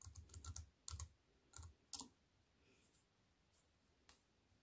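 A slim wireless keyboard with a silver aluminium frame and black plastic chiclet keys sits on a wooden table and is typed on with fingertips that have long white-painted nails. The keys give quick, irregular clicks and taps with a soft low thump under a bright clack, dense at first, then sparser and quieter toward the end.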